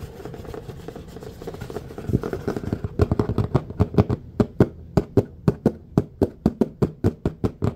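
A large, thin, flat red plastic serving tray with a raised rim lies empty on a surface and is scratched and tapped with the fingertips and nails of both hands. For about the first three seconds, a dense, rustling scratch runs continuously. Then crisp, dry, hollow taps with very little ring follow in a steady, slightly irregular rhythm.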